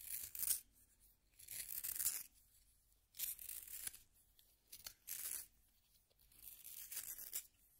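A solid yellow wooden pencil is turned in a small pink plastic hand sharpener, its blade shaving the wood. Bright, hissy scraping comes in uneven bursts separated by short quiet pauses, with almost no low end.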